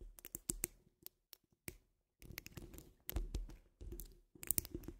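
Long nail tips of both hands tap and scratch a wire-mesh metal microphone dome grille. The sound is a quiet, close run of sharp clicks and scrapes, with deep low thumps under bright, brief ticks. Bursts are broken by short silences and then run into dense scratching stretches.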